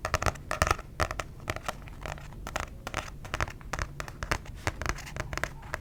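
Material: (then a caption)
Paper. A paper book is tapped in a quick, irregular series of short, dry taps. Each tap has a soft low thump and a crisp, bright click that dies away almost at once, over a faint steady background.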